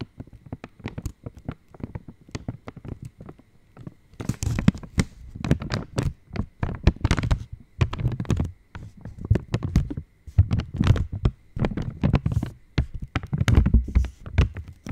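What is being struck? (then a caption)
Metallized plastic chocolate wrapper. An opened purple Cadbury Dairy Milk Silk chocolate wrapper of foil-lined plastic is held in both hands and tapped with long nails. It makes rapid, dull, low crinkly taps and soft crackles, quieter for the first few seconds and then coming in louder clustered bursts with brief gaps.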